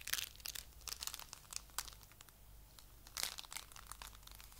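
A soft handful of coral-pink foam clay made of tiny polystyrene beads is squeezed and kneaded with the fingers. It gives off a quiet, dense run of crunchy, crinkling crackles that are mostly bright and high, with short bursts rising and fading over a faint low hum.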